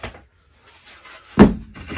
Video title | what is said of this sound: People's Choice Build Part 1 | this is a denser, higher pitched, not like the black locust, not like rosewood